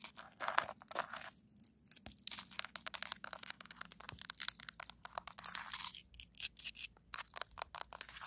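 A hand with long almond-shaped acrylic nails scratches and rubs across a flat, icy frozen snow crust on solid ground outdoors, using both nails and fingertips. The result is a quiet, dense run of short, bright, scratchy crunches and rasping strokes with almost no low end, each dying away instantly.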